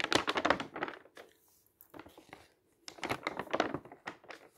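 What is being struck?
Thin paper booklet.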